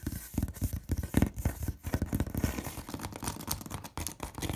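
Long red nails scratch and tap rapidly across the large, flat, hollow side of a corrugated cardboard box. The quick taps give dull, low thumps, and the scratching adds a bright, papery rasp. The sound stays busy and uneven throughout.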